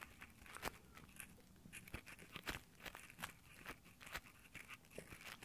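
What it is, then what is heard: Nylon gloves scratching a microphone grille. Nylon exfoliating gloves rub slowly across the metal mic grille of a handheld Tascam recorder, giving soft, scratchy fabric friction from the fingertips. Quiet rasping strokes mix with brief bright crunchy ticks that stand out sharply at irregular moments, over a low steady hiss.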